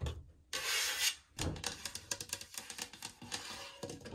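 Long painted nails and fingertips scratch and tap across the flat panel of a white painted MDF medicine cabinet door that stands open on its hinge. A bright, hissing scratch sweeps across the surface, then a quick run of crisp, dry taps follows, each dying away almost at once.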